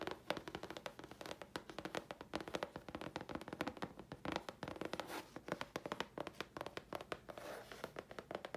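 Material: Chipboard.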